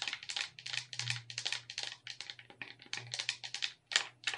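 Long red nails tap and click the buttons, joysticks and D-pad of a hollow black plastic wireless gamepad held in both hands. About two dozen quick, uneven, bright clicks follow one another with almost no ring. A faint steady low hum runs underneath.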